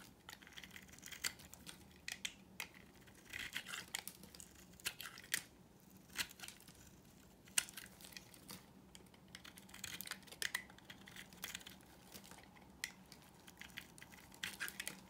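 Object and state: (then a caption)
Dry soap bar being shaved. A utility knife blade shaves a solid, dry pink marbled bar of soap, giving quiet, crisp scraping and crackling bursts. The sound is mostly bright and high, with many short, dry hits and slightly longer scraping stretches that stop almost at once. A faint low hum runs underneath.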